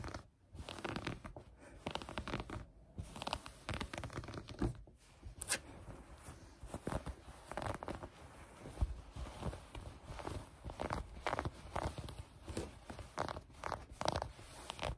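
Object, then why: Knit fabric. Green knit fabric lying on a table is pinched, gathered and scratched with long nails and fingers, making a continuous run of soft, dry scratching and rustling with a low rumbling undertone. Brief quiet gaps break up the texture throughout.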